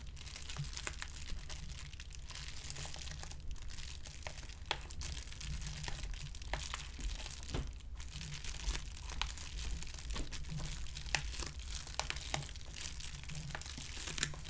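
A medium, closed white plastic padded poly mailer envelope resting on a table is rubbed and pressed with flat palms and fingers. It makes continuous dry, bright crinkling with scattered sharp crackles over a steady low hum.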